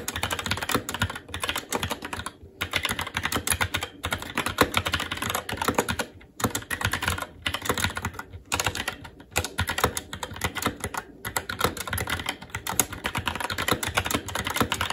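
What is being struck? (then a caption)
Mechanical keyboard with plastic keycaps on a metal plate. A SteelSeries Apex 7 TKL mechanical keyboard with Red switches, black plastic keycaps on a metal plate and a hollow RGB-backlit case, resting on a desk, is typed on continuously with the fingertips of both hands. Rapid, bright plastic clacks run together in a steady stream, broken by a few brief pauses.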